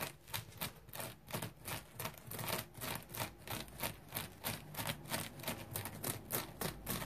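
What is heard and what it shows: Fingernails scratch the firm, textured foam of a dry yellow polymer foam scrub sponge with a smiley face, lying on a towel and held in the hand. Quick, repeated rasping strokes come at about three per second, each a dry, bright, broadband scrape with a short tail.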